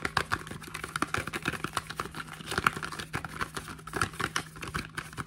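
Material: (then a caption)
Cardboard. A small, hollow printed cardboard face cream box is held in the hands while fingertips and short nails tap quickly on its flat faces and edges. The result is a rapid, uneven stream of short, dry, hollow taps with a papery tone centred around 1.4 kHz. A faint steady low hum runs underneath.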